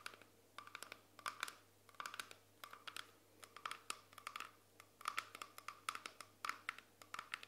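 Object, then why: Small round glass lid. A small, solid, round clear glass jar lid held in both hands is tapped and scratched with long painted fingernails. Rapid, crisp clicks and scratchy bursts come in clusters, with a bright glassy tone around 1.3 kHz that dies away almost instantly after each touch.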